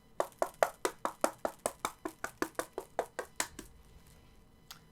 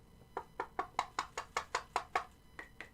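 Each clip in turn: First: thin stainless steel belt plate, duller knock. Second: solid zinc alloy replica belt plate.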